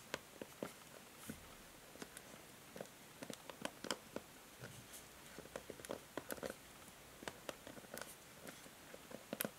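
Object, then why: Plastic paddle hair brush. Long nails tap and scratch a new plastic paddle hair brush, first on its back and then across the plastic pins on the bristle side. About two dozen quiet, sharp clicks stand out over a soft, bright scratching hiss, each dying away almost instantly.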